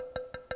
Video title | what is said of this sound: The Effects of Weather on Untreated Wood | hear the tonality that's typical of these very, very dense exotic hard woods